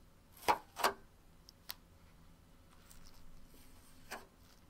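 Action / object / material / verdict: tap / onyx stone bowl / onyx stone / none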